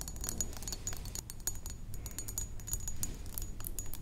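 A medium, rectangular, thick glass perfume bottle, partly filled with liquid, is tapped on its sides with the long acrylic nails of both hands. The result is a rapid, continuous patter of short, bright clicks, each with a faint high glassy ring that fades almost at once, over a low background rumble.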